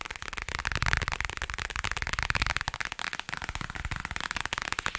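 Long nails tap and scratch rapidly across the thin, rigid, flat printed cardboard back of a toy package with a carrot pattern. The result is a dense, continuous stream of dry, crackly clicks and scrapes with a bright, papery edge and a faint low thump under the taps.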